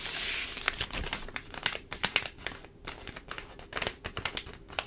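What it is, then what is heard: Open newspaper. An open newsprint newspaper of thin layered paper lies spread flat on a table while long pointed dark acrylic nails tap rapidly on its pages, the other hand resting flat. A soft papery rustle opens the clip, then a quick run of dry, bright, crisp clicks and crinkles follows with almost no ring.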